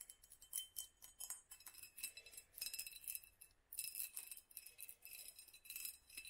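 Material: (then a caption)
Glass. A small hollow glass mason jar with a black studded sleeve is held in the hand and tapped and scratched with long nails around the sleeve and the glass. The result is a quiet, rapid run of bright clinks and ticks with short, high ringing tones and almost no low end.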